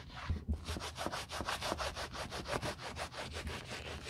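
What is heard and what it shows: A grey grained caviar leather YSL Wallet on Chain with white edges, a small, flat, hollow bag held in gloved hands, has its quilted leather face rubbed firmly with a white cloth wrapped over gloved fingertips. Steady back-and-forth rubbing strokes give a soft, breathy scraping hiss with a low, dull thump under each pass.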